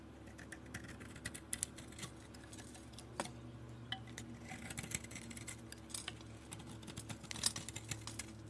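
A palm-sized solid soap bar with a glossy galaxy-painted coating is scraped with a metal box-cutter blade, exposing the white soap beneath. Quiet, bright scratchy scrapes and soft crisp clicks repeat irregularly over a low steady background hum.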